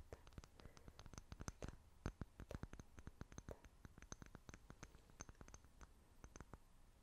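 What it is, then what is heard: Glass jar tapped with fingernails. Long fingernails tap and scratch quickly on a small, clear glass jar that appears empty. The result is a quiet, rapid stream of sharp, short clicks with brief bright glassy ticks, layered over faint scratching and a low rumble.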